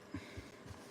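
A metal can of green paint is shaken to check whether the paint has dried up, producing three quiet, dull low-pitched sloshing thumps as the liquid moves back and forth inside. The paint is still liquid and has not dried up.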